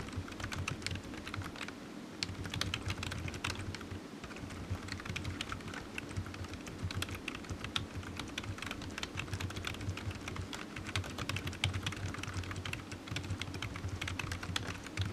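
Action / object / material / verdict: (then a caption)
tap / plastic computer keyboard / plastic / none. Fingertips of one hand tap rapidly on the keys of a solid, black, low-profile plastic computer keyboard resting on a desk mat. The result is a dense, continuous stream of short, bright clicks with almost no ring, over a steady low hum.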